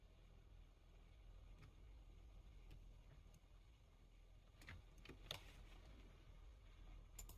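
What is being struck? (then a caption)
Plastic computer keyboard keys. Fingertips of both hands type on the plastic keys of a full-size black plastic computer keyboard. Sparse, short, bright key clicks rise over a quiet, steady low rumble, with a few sharper clacks toward the end.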